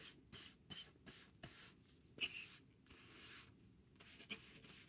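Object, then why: Cardboard sheet. A thin, solid, rectangular grey cardboard sheet is held in the hand while its face is scratched or rubbed. The result is a series of quiet, dry, bright scratching strokes with short gaps, plus a few sharper ticks along the way and almost no low end.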